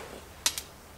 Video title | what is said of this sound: Header Wrap Torture Test! | it sounds like glass